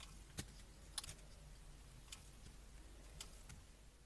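A metal blade shaves a solid blue soap bar with white squares, held in gloved hands. Short, bright scraping clicks come at irregular intervals over a quiet, steady low hum.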